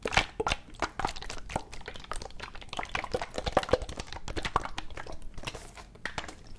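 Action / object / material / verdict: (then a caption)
shake / plastic medicine bottle partly filled with liquid / plastic / none. A medium plastic NyQuil medicine bottle with a white cap, partly full of yellow liquid, is gripped by the fingertips in one hand and shaken so the liquid sloshes inside. Quiet, dense sloshing mixes with rapid, dry ticks and crackles from fingers on the plastic, with a few sharper clicks standing out.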